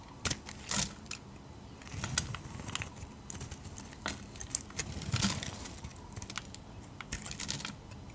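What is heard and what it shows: A utility knife blade shaves thick curls off a solid, translucent dark purple-red rectangular glycerin soap bar held in hand. Short, crisp scraping and crackling cuts with a bright edge stand out over a low, steady rumble. The cuts come in irregular bursts, some sharper than others.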